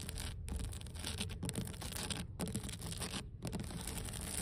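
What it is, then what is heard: Weathered wooden dock boards. Long blue nails on both hands tap and scratch the surface of large, solid, weathered wooden deck planks on an outdoor dock by the water. The result is a steady, dense scratching rustle with quick, dry taps, broken by a few brief pauses. It carries a heavy low rumble beneath and a thin bright hiss on top.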